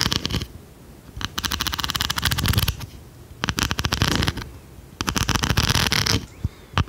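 An oversized blue plastic pencil sharpener with a metal blade and a solid body is tapped and scratched with long red nails. Three main bursts of rapid, crisp clicking and scratching come in quick succession, bright and dry, with short quiet gaps between them. A low, soft thud sits underneath.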